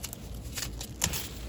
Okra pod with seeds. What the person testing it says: if I shake it, notice you can hear the seeds